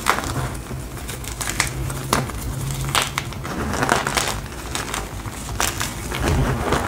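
A small, solid, fresh white block of gym chalk (magnesium carbonate) is squeezed, crushed and rubbed between the fingertips and palms of both hands over a bed of loose chalk powder. Dense crunching, crumbling and crackling fill the clip, with brighter sharp cracks standing out over a steady low hum. The block crumbles as it is worked.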